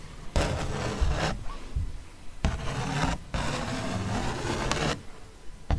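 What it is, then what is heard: Paper print scratched with a pen. The tip of a ballpoint pen traces and scratches across a thick paper art print with a fox face, held upright. Dry, rasping scrapes come in several separate strokes, with short pauses between them and a quick final scratch at the end.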